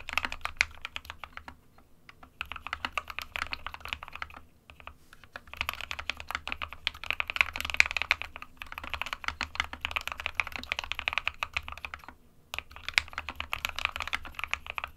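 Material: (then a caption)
Plastic. Fingertips of both hands type continuously on the plastic keycaps of a small 60% white plastic-cased SK61 mechanical keyboard resting on a desk mat. Rapid, bright, crisp clacks pour out in dense bursts with almost no ring, broken by brief pauses around 2, 4.5 and 12 seconds.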